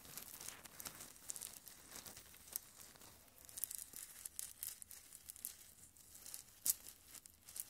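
Fingers with long red nails squeeze and rub a small mesh bag full of white, pebble-like decorative stones right beside the microphone. The stones grind and crunch against each other in a quiet, bright, crinkly crackle of dense tiny clicks with almost no low end. A few sharper snaps stand out, the loudest near the end.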